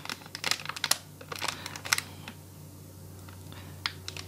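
Fingertips tap, press and crinkle the surface of a small printed plastic and foil gacha blind bag with a Gravity Falls design, a hollow package with a small toy inside held in both hands. Quick, bright, crisp taps and crinkles come in a busy cluster over the first two seconds, then fade to a quiet pause over a low steady hum. A few more sharp taps follow near the end.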